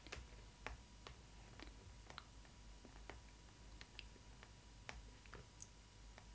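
Long nails scratch and tap on the Stitch cardboard cutout of a printed cardboard Disney Ily 4ever Stitch doll box, close up. About 13 short, dry clicks with bright scratchy edges sound over a quiet, steady low hum, each fading almost instantly.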